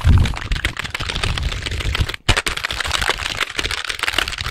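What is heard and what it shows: A black full-size plastic computer keyboard with a hollow casing is held in both hands close to the microphone while its keys are pressed and tapped with fingertips and the keyboard is moved around in front of the mic. A dense run of clacky key taps and hollow plastic knocks carries a strong low thump and bright clicking, with a brief silent break just past two seconds before the tapping resumes.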